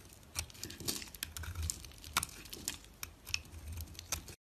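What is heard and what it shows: A box-cutter blade shaves and scrapes a small, solid white bar of dry soap held in the fingers, and flakes and crumbs fall off. The sound is a dry, crisp scratching and crackling, broken by sharp, bright clicks as the blade catches and bits break away.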